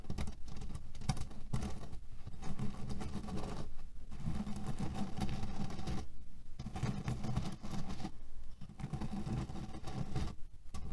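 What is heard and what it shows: Fingernails scratch and tap a cotton pillow filled with cherry pits, making a dense, low, crunchy rattling patter as the pits shift inside the fabric. The rustling runs almost continuously, with brief quieter gaps near 4, 6 and 8.5 seconds, and each tap dies away quickly.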